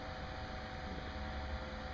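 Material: Nothing is struck.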